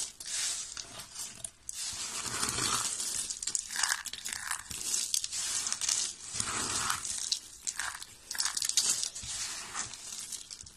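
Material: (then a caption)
Soap. A pile of thin, solid white dry soap flakes is crumbled and rubbed between the fingers. It makes a dense, bright crunching and crinkling that rises and falls in waves of short, dry crackles throughout.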